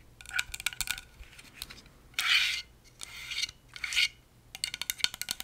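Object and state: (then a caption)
Plastic and metal stapler tapped and scratched with fingernails. Long acrylic nails scratch and tap along the top and sides of a hollow, handheld pink Swingline stapler with a plastic shell and metal parts. Quick, bright clicking taps give way to longer raspy scratches, then return as a run of sharp taps.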